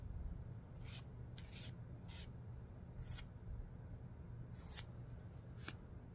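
Fingertip nails are filed along the gritty edge of a long emery board nail file held upright. Short, bright, raspy scratching strokes come in separate bursts over a steady low rumble.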